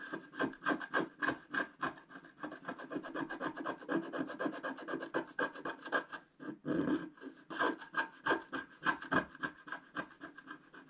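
A wooden stick held at a low angle rubs and scratches across a flat, black-coated scratch-art sheet, scraping off the coating. Quick, uneven back-and-forth strokes, about three to four per second, make a dry, raspy scratching with a steady midrange squeak-like tone and a faint high hiss. There is little low end, and each stroke stops almost at once.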